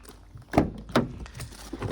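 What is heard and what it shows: The rear door of an Opel Astra, a metal and glass car door, is closed. Two solid, low thunks stand out, with fainter knocks and rustling around them. The door shuts with a short, damped sound and little ring, as expected.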